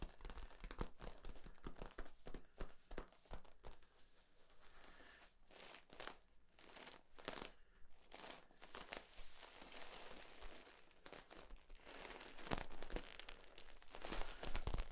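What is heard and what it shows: Fingertips squeeze and crinkle the ribs of a long, hollow, flexible yellow corrugated plastic tube held diagonally. The result is a steady stream of quick, irregular crackles and crinkling bursts, some sharp and bright, over a faint low hum. The crinkling swells louder toward the end.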